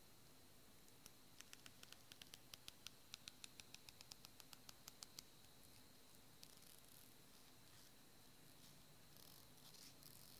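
Long fingernails run along a small, solid white plastic hair comb held in one hand, plucking its teeth in a strumming scratch. A quick run of sharp, bright ticks forms a cricket-like buzz over a quiet, steady hiss with a faint high whine, then a lone tick follows later.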